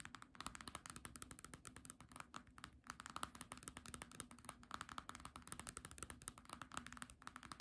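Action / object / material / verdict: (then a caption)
tap / hardcover book with glossy paper cover / cardboard / none. Long nails tap and scratch the glossy paper cover and page edges of a small green hardcover book held flat and solid. Quick, dry, quiet clicks patter in a steady, rapid stream with almost no ring, centered around 1.3 kHz over a faint low hum.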